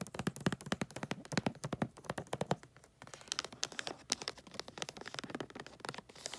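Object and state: Foil-wrapped gift box.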